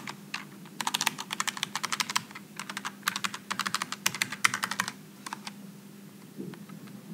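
Both hands type with their fingertips on a Logitech G915 low-profile mechanical keyboard with aluminum and plastic keycaps. Quick bursts of sharp, bright, short clicks come over a faint steady low hum. After about five seconds the typing falls away to a few scattered taps and a soft thump.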